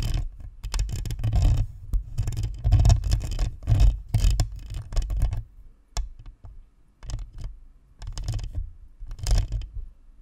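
Long nails tap and scratch the metal grille and plastic shell of a white plastic spherical USB microphone. The result is dense, bassy rustling and tapping close to the mic, coming in uneven bursts with brief quieter gaps between them.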